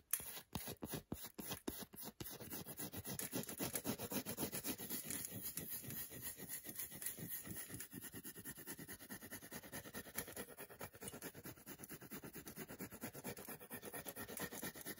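Long nails repeatedly scratch the heavily scratched flat back of a solid milk chocolate bar held in the hand. A few sharp, separate scrapes open the clip, then after about two seconds they blur into a fast, continuous rasping with a bright hiss on top that runs to the end.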